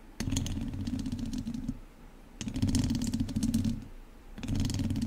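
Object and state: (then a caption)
Metal mesh microphone grille being scratched. The tips of two wooden chopsticks scratch the lower sides and top of a hollow metal mesh microphone grille. Three bursts of dense, rumbling scratching with a strong low hum come through, with bright crackly ticks on top. Each burst is separated by a brief quieter gap.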